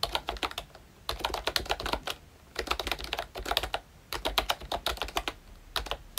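Both hands tap fingertips on the round black keycaps of a pink plastic ROYCHE Disney Mickey Mouse retro membrane keyboard. Quick, soft, bright clicks come in bursts of typing, separated by short pauses, with little low end.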